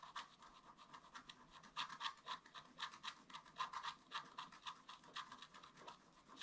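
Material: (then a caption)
Coated paper. A wooden stylus scratches leaf details into a flat, black-coated scratch art paper card in short strokes. The quiet, dry scratches come in quick, uneven bursts of about four per second, with a papery rasp centered near 1 kHz and bright hiss above. There is almost no low end, and each stroke stops short with no ring.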